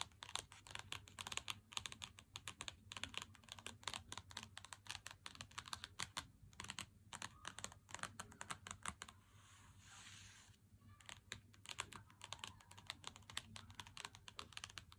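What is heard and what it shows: Fingertips and nails of both hands tap rapidly on the front of an unopened Lindt Excellence 90% dark chocolate bar, 100 g, in a thin cardboard sleeve lying flat on a wooden table. The result is a dense stream of short, bright, dry clicks with almost no ring. The tapping pauses briefly around the ninth to tenth second, leaving a soft, hissy rustle before the clicks resume.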